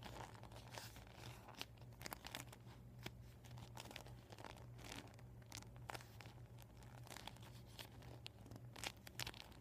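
Fingertips and nails tap and scratch across a flattened, empty, deflated PVC vinyl beach ball. The result is a steady run of soft crinkling and rustling, broken by sharp, bright tick-like taps and brief tearing-like scrapes. A low, constant hum sits underneath throughout.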